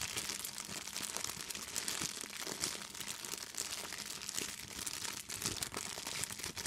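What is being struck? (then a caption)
Thin clear plastic bag. An empty clear plastic bag is scrunched and crinkled close up with fingers and long nails. A steady, dense crackle of bright, high crinkling runs throughout with almost no low end, made of many quick, sharp rustles that die away almost at once.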